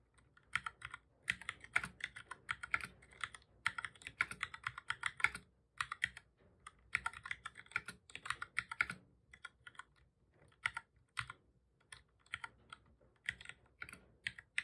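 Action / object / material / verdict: tap / plastic computer keyboard / plastic / none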